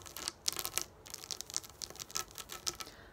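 Long nails tap and scratch across a flat sheet of raised plastic dome dot stickers lying on a wooden table. The result is a rapid, uneven series of sharp, bright clicks and crinkly scrapes with almost no low end, each one dying away instantly.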